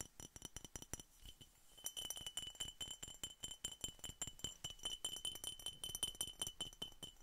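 A glass Coca-Cola bottle is tapped in rapid, irregular succession, each tap a short, bright clink that dies away almost at once. Around two seconds in, a steady high ringing tone of about 3 kHz joins the taps and continues to the end as the tapping grows a little louder and denser.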